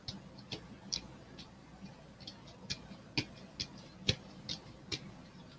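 A hollow, hand-sized pink, purple and green plastic ball is held in one hand and tapped and scratched with the fingertips and nails of the other hand. About ten short, bright clicking taps land at uneven intervals over a soft, steady scratching hiss, each dying away almost instantly.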